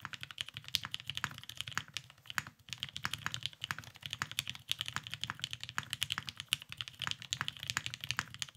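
A beige tenkeyless Salamander mechanical keyboard with a cerakoted case, lubed Vintage Black switches and plastic keycaps sits on a desk mat and is typed on quickly with the fingertips of two hands. It produces a steady stream of short, bright clacks peaking around 3 kHz, with a soft low thock beneath and almost no ring after each keystroke.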